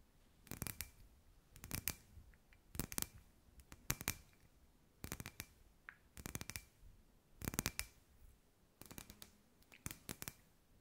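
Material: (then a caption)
Glass. Long white nails tap on a hand-sized, hollow, clear glass sphere lamp with fairy lights inside. Quick clusters of sharp, bright, clicking taps come in about nine bursts with short pauses between them. Each tap dies away almost at once, with only a faint glassy ring.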